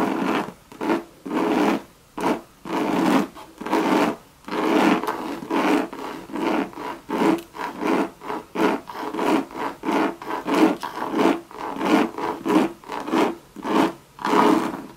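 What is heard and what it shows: Long, sharp red nails rub and scratch in repeated strokes along a hollow Louis Vuitton Monogram coated canvas bucket bag and its leather band. About 24 separate dry, rasping strokes come at a loose, uneven pace of roughly one and a half per second. Each is a brief papery scrape centered in the low-mid to mid range, with short quiet gaps between.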